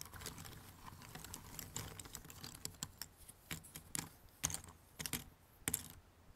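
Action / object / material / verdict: scrape / thin cardboard jigsaw puzzle pieces in a box / cardboard / none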